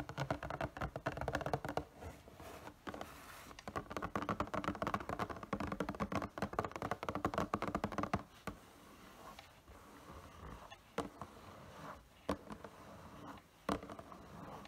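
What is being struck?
Printed cardboard box with a figure inside.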